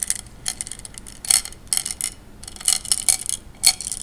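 Fingers push and rub glass gems together in a wet tray of water, making a run of quick, bright clinks and clicks. The taps come in irregular clusters with a few louder knocks, each dying away almost at once with no lingering ring.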